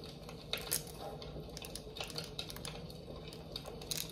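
A large amber glass jar candle with a lid, filled with wax, is held in one hand and tapped on the glass with long nails. The result is a quick, uneven series of light, bright clicks and ticks that fade almost instantly, over a soft, steady low hum.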